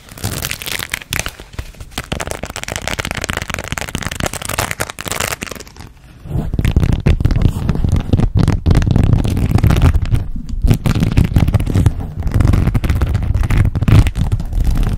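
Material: Plastic beads.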